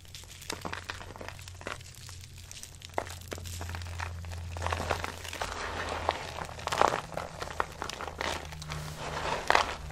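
A handful of dry soap flakes is crumbled and dropped, then pressed with long-nailed fingers, giving a dense run of soft crinkling, crunching crackles. Sharp, bright clicks stand out over a low steady hum.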